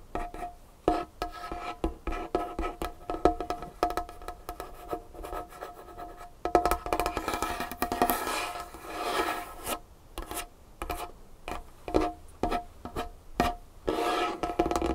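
Fingernails tap one at a time on a large, solid dark-wood tabletop, making quick, dry clicks with a short woody ring around 700 Hz. Around the middle, long nails scratch across the wood in a bright, hissing rasp. The tapping then picks up again in uneven bursts.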